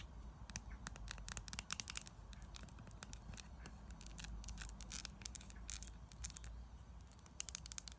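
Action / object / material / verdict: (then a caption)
tap / small plastic jar with screw lid / plastic / none. Long nails tap and scratch on the white plastic screw lid and sides of a small round plastic lip scrub jar filled with green granular scrub. Quick, bright, dry clicks and scratchy rasps come in irregular bursts over a low, steady hum. Each tap stops almost at once with no ring.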